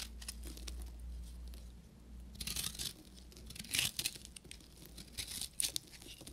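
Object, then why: Bar of soap scraped with a metal knife. A short metal knife carves and scrapes a solid, dry beige bar of soap with a copper crust. Bright, crackly scraping and crunching bursts stand out over a low steady hum, with the strongest crunches near the middle and end.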